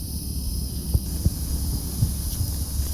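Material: Nothing is struck.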